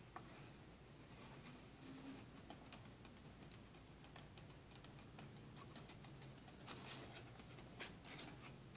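A small, thin pink paper sticky note held in one hand is rubbed and scratched with a fingertip and nail. The sound is a quiet, steady papery scratching and patter with brief brighter ticks scattered throughout, over a low background hum.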